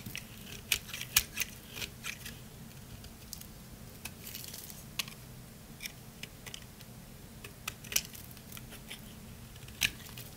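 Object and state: Dry soap bar being shaved.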